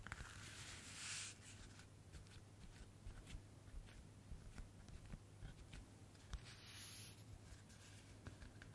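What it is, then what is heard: Paper notebook cover. Long natural nails scratch and rub the surface of a thin white paper-covered notebook with an eye print, held in both hands. Quiet, dry scratching and tapping ticks run throughout over a steady low hum, with two longer, brighter rubbing swipes near the start and near the end.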